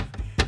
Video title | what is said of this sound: Repairing loose glass panels in your Alpine overhead cabinets | when i tap on it you can hear that rattling glass